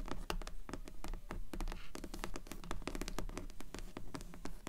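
Long nails tap and scratch the cloth/paper board cover of a solid dark grey hardcover book, propped partly open with its cover up. Quick, irregular, dull taps mix with short scratching strokes, each tap dying away almost at once with little ring.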